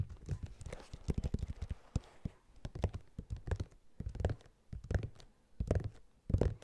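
A running shoe, a knit mesh sneaker with a rubber sole, is held close and tapped on its rubber sole with fingertips and nails, then scratched on its yellow knit mesh upper. Dull, low, thumping taps come in quick irregular flurries and short bursts, with faint scratchy rustling between them. Each tap dies away almost at once.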